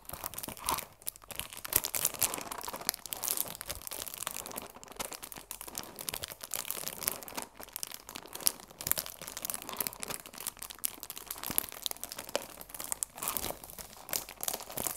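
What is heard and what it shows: A cellophane-wrapped cardboard tea box is held in both hands while the plastic wrap is squeezed and crinkled with fingertips and nails. Dense, bright crackling and crinkling runs continuously, with sharp snaps scattered throughout and almost no low end.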